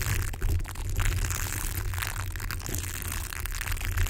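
A yellow, hollow plastic hair roller with a bristly velcro surface is held above a microphone and scratched and rubbed with fingertips. The result is a steady, dense scratchy rustle with bright crackling texture over a heavy low rumble, with a few louder scraping swells throughout.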